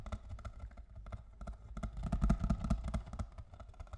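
A box of cocoa is tapped with fingers and nails in a series of quick, irregular taps. Each tap is short and dull, with little ring. The taps build to a louder, denser cluster in the middle before easing off again.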